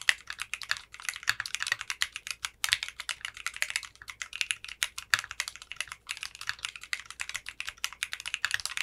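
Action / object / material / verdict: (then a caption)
tap / mechanical keyboard with plastic keycaps / polycarbonate / none. A compact 60% mechanical keyboard with clear pink polycarbonate keycaps and a translucent case is typed on continuously with the fingertips. It makes rapid, crisp, bright clacks centered around 2 kHz that die away almost instantly, with only brief gaps between bursts of typing.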